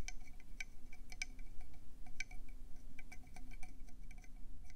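Long painted acrylic nails tap quickly on a hand-sized, hollow, cream conch shell with brown speckles, held close in both hands. A rapid, uneven stream of small bright clicks rings briefly like tiny chimes over a steady low rumble.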